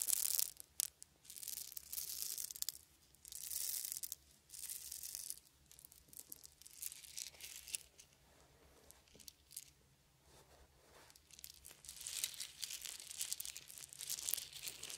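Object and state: Wooden beads.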